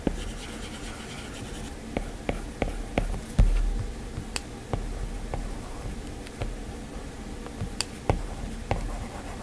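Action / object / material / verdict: tap / glass tablet touchscreen with plastic-tipped stylus / glass / none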